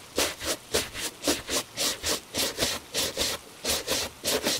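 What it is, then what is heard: Leather shoe being brushed. A gloved hand vigorously brushes a hollow tan Italian leather dress shoe with a bristle shoe brush. Quick back-and-forth strokes make bright, hissy rubbing swishes with a faint midrange scratch. They repeat in a steady rhythm, a little under two strokes per second.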